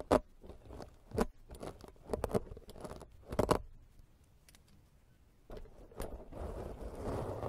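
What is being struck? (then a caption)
Foam microphone windscreen scraped with a metal-bladed peeler. A black, soft, porous foam microphone windscreen is scraped by hand with the serrated metal blade of a green plastic peeler. Short, dry scratching strokes come in uneven bursts, then fade to a quiet pause. The clip ends with denser, steadier scraping.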